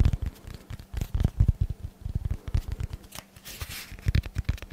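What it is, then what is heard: Dense foam block. Fingertips tap and scratch across a hand-sized solid block of dense black foam held close to the mic. They make a quick run of soft, dull, low thumps that die away at once, with a brief airy scratching hiss partway through.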